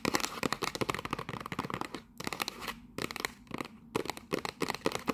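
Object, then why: Small cardboard box. Long nails rapidly tap and scratch the edges and sides of a small printed cardboard gift box with a barcode and a mug inside. The result is a dense stream of dry, crisp clicks and rough scraping with a bright edge, broken by a few short pauses. Each tap dies away almost instantly.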